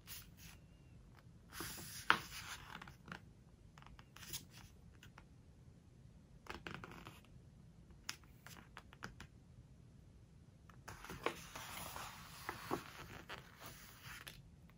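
Fingertips with long nails grip the edges of a glossy paper book's pages, turn them, then press them down. Quiet, bright rustling and crackling come in short bursts, with sharp ticks as the glossy paper flexes and settles.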